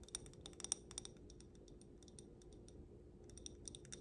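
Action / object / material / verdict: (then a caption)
tap / stemmed glass bowl filled with glitter / glass / none. A small stemmed wine glass filled with pink glitter is held up and tapped on the bowl with long black nails. The taps make quick, irregular, bright clicks with almost no ring, clustered at the start and end with a quieter stretch in the middle. A low, steady hum sits underneath throughout.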